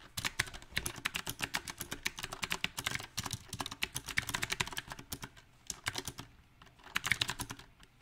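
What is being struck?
Mechanical keyboard with round plastic keycaps.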